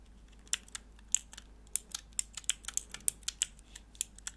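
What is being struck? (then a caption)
Plastic mechanical keyboard switch tester. A small, hollow, clear plastic switch tester with four mechanical keyboard switches and grey plastic keycaps is held in the hands while long nails click the keys and scratch the plastic. About 17 sharp, bright clicks ring out over a faint scratchy hiss, each dying away almost instantly.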